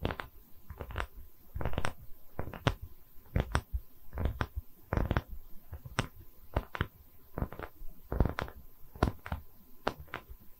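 Long nails scratch across the cut face of a round solid wood tree-slice coaster with growth rings, held in both hands close to the mic. Irregular bursts of scratchy, bright rasps are heard over a deep, low rumble from handling, each stroke short and dry with almost no ring.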